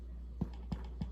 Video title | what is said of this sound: Easy homemade white bread | that's the hollow sound that I was talking about